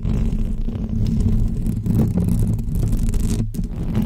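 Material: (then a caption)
Metal mesh. Long almond-shaped fake press-on nails scratch the hollow woven metal mesh dome grille of a pink microphone. The result is a dense, continuous, low rumbling scrape with a steady level, with a brief dropout of the upper frequencies around 3.5 seconds.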